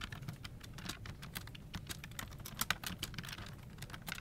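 Both hands type continuously with fingertips on a full-size plastic office keyboard resting on a desk, its hollow plastic case and key switches giving dense, fast, bright key-press taps. The clicks are short and dry over a steady low rumble, with a couple of sharper, louder strikes just past the middle.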